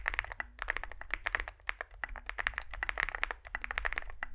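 Two hands type with their fingertips on a Zoom65 65% mechanical keyboard with a solid metal case and grey and white SA-profile plastic keycaps, resting on a desk mat. A fast, uneven stream of crisp, bright clacks with almost no ring comes in bursts, with brief lulls between runs of key presses.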